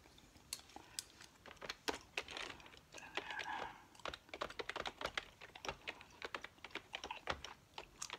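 Fingertips with long nails type and tap quickly across a full-size beige plastic keyboard with hollow plastic keys resting on a tiled table. Dozens of short, bright, hollow clicks come in fast, uneven bursts, each dying away almost at once. Between the clusters is a faint hiss.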